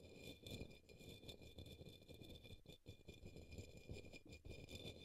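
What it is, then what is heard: Plastic cup brushed. A paintbrush sweeps across the base of an upside-down, hollow, empty turquoise opaque plastic cup or small bowl resting on a green towel. The result is a continuous soft, bristly scratching with a hollow low rumble underneath and faint steady high tones throughout.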